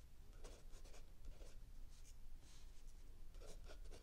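A mechanical pencil writes continuously on a lined paper page of a spiral-bound notebook lying flat on a wooden table, while an open paperback book rests still under the other hand. Soft, bright scratching strokes come in short bursts over a steady low rumble, with no ring after each stroke.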